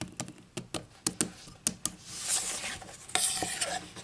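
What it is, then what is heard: Wooden ruler tapped with fingernails. Long acrylic nails tap along a solid wooden ruler lying on a table and then held. It gives a series of crisp, dry clicks with almost no ring, broken by a brighter, hissy stretch before a few more taps.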